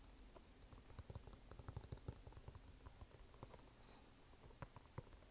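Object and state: Canvas sneaker.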